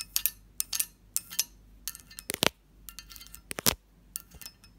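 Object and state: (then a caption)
Cut-glass covered dish. Long nails and fingertips tap the textured sides and lid of a hollow cut-glass lidded dish. The result is a quick, uneven series of bright, short glassy clicks and clinks with little low end and almost no ring.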